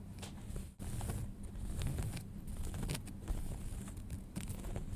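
Fingernails scratch and fingertips rub the front pocket of a pair of folded light-wash denim jeans. The sound is a steady, muffled, low-heavy rustle with scratchy texture and brief bright streaks, pausing briefly just before one second.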